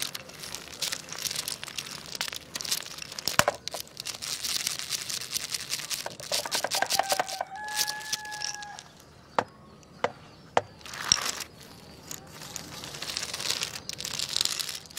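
Fingertips scratch and wiggle a long, jointed wooden crocodile toy made of solid wooden segments lying on a tile floor. Bright, crinkly scratching and dense clicking fill the clip as the segments knock together, with a brief tonal squeak in the middle. A few isolated sharp clicks follow before the scratching resumes.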